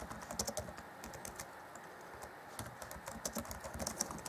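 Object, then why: Plastic laptop keyboard keys. Fingertips of both hands tap and type on the black plastic chiclet keys of an Acer Chromebook C20 (2014), set in a grey laptop keyboard deck. Quick, soft, bright plastic clicks come in rapid bursts, with a quieter lull in the middle before the typing picks up again. Each click dies away almost at once.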